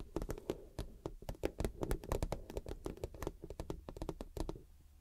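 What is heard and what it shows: Long acrylic nails tap and scratch the top surface of a medium transparent PVC zip cosmetic pouch with a cactus print, hollow and empty or lightly filled. A rapid, uneven run of short, dry clicking taps with a soft hollow low thump beneath each one, broken by faint scratchy rasps between hits. Nothing rings on after each tap.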